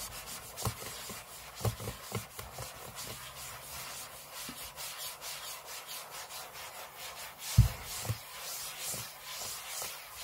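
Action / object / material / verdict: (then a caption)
scrape / aluminium laptop lid / aluminium / none. Short fingernails scratch the aluminium lid of a closed space-grey MacBook lying flat on a table, heard close-up. Steady dry, bright scraping and rubbing rises and falls in strokes over a soft low rumble. Near the end, two sharper, louder strokes give brief low thumps.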